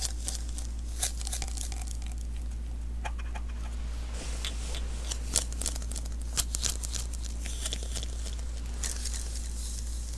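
A small, hollow sticky lint roller refill (an adhesive paper roll) is held in the hands while fingertips tap and press its adhesive surface. Irregular, tacky, crinkly peels and bright crackling snaps sound over a steady low hum.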